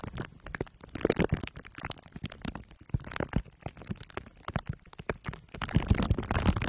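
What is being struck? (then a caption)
Microphone wrapped in aluminium foil and plastic wrap, rubbed with glue sticks. A microphone head wrapped in crumpled aluminium foil under clear plastic wrap is rubbed on the top and sides with glue sticks. The result is a dense run of short, crinkling, sticky crackles with heavy low-end thumps and brief bright edges. The activity grows busier and louder toward the end.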